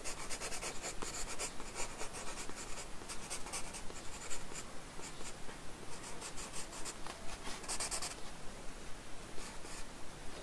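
A wooden pencil scratches outline strokes of a face profile onto a blank paper sketchbook page resting on a wooden desk. Dry, bright scratching comes in short, fairly regular bursts of about two strokes per second, over a low, steady rumble.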